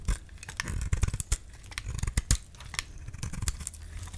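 A metal utility-knife blade scrapes and shaves thin curls off the surface of a solid orange, palm-sized bar of dry soap held in one hand. Quick, dry, crisp scraping strokes with bright high edges come in an uneven run over a low rumble.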